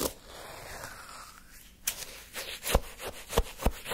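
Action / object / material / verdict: scrape / cup of orange sherbet shaved ice scraped with a wooden spoon / ice / none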